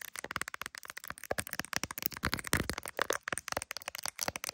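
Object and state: Phone in clear plastic case.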